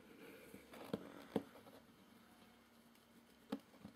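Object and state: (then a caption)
Cardboard shipping box. Fingertips tap and scratch the top of a hollow, medium, closed corrugated cardboard shipping box resting on carpet, near the tape seam and edge. Four soft, dull, hollow taps stand out, with faint scratchy rustling between them. The taps die away almost at once, leaving a quiet, muffled texture.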